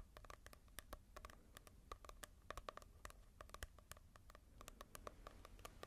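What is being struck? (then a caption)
Paperback book with glossy cover. Fingertips rapidly tap and scratch on the glossy cover of a manga book. The result is a quiet stream of short, crisp clicks with a slight hollow ring around 1.2 kHz and bright edges, over a faint low rumble.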